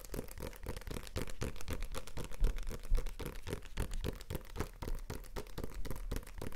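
A small, solid "Ki&Hi" paperback comic book with a glossy card cover is held in one hand while the fingertips and nails of the other hand tap and scratch it. The rapid, somewhat uneven taps sound dull and thumpy, with short, papery scratches between them.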